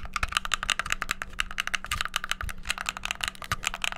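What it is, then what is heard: Plastic game controller buttons being pressed. Thumbs and fingertips press the buttons of a hollow white plastic gamepad in rapid succession. The result is a dense, steady stream of sharp, bright plastic clicks and clacks with almost no ring, over a faint low hum.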